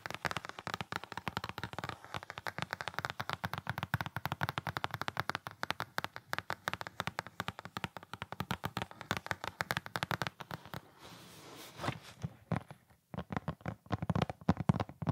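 Fingertips rapidly scratch and tap the top edge of a printed cardboard LED tree box, making a dense run of dry, crisp clicks with almost no ring. Around the eleven-second mark the tapping gives way to a brief soft scrape and rustle as the box is handled. The quick tapping then resumes.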